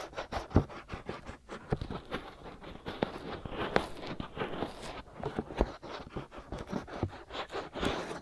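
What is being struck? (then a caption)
Silicone ears of a binaural microphone. Fingers with short nails scratch and rub the white, soft silicone ears of a binaural microphone. The result is a close, dense run of dry scratching and rubbing strokes, heavy in the low end, with sharper louder scrapes standing out from the continuous rustle.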